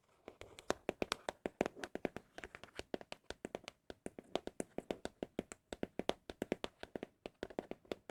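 Fingers tap rapidly on an empty cardboard Apple product box, producing a quick, steady stream of dry, hollow knocks with a mid pitch and almost no ring. The taps come in uneven clusters with short pauses, sounding especially pleasing.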